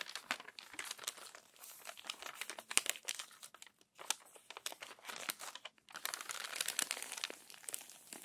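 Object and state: Paper magazine pages being crumpled and smoothed.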